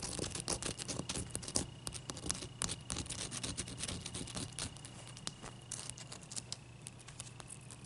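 Long nails tap and scratch a large, clear, solid, wet ice cube, producing rapid, irregular clicks and scratchy scrapes. The sharp, bright ticks die away almost instantly over a quiet, steady low hum, with a faint high whine running underneath.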